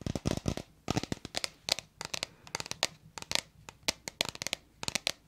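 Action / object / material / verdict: tap / small plastic bottle / plastic / none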